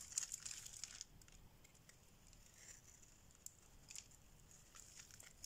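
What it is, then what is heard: Dry bar soap being shaved. A solid oval yellow bar of dry soap, held in the hand, is shaved with a metal blade into crumbly shavings. A dense burst of bright, crisp scraping and crackling fills the first second, then thins to faint dry rustling with occasional sharp little ticks. The sound is quiet and almost all high-pitched, with very little low end.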